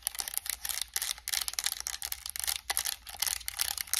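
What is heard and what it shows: Long acrylic nails tap and click rapidly on the buttons and plastic shell of a white and black PS5 controller with purple thumbstick caps. The sound is a quiet, steady patter of crisp, bright plastic clicks and taps with almost no low end, each one dying away instantly.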